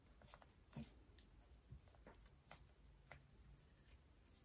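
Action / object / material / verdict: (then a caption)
tap / small metal lipstick case / metal / none. Fingernails scratch and tap a small, hollow rose-gold metal lipstick case held in the hand. Soft, short clicks and quick bright scratches come at uneven intervals over a low, quiet background rumble.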